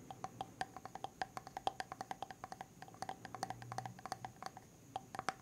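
Fingernails tap quickly and repeatedly on the silver lid rim and side of a medium white plastic hair mask jar tilted sideways; whether it is full or empty is unclear. About 40 quiet, short, clicky taps each carry a faint pitched ring near 780 Hz over a soft hiss.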